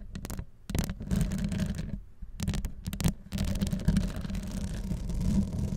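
Long pastel acrylic nails from both hands scratch the hollow metal wire-mesh grille on top of a Blue Yeti microphone, staying on the grille rather than its rhinestone-covered body. The result is a dense, close, bassy scratching with a low hum-like tone, broken by brief pauses and sharp bright crackles.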